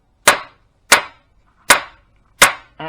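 A hammer strikes the steel swingarm pivot spindle of a 40-year-old Yamaha XT500 motorcycle frame four times, trying to tap it out, and each blow gives a sharp, bright metallic crack with almost no ring, followed by a brief tonal sound at the end. The spindle does not move and sounds solid, seized in its bushes, so it will have to be cut through with a thin blade and pressed out.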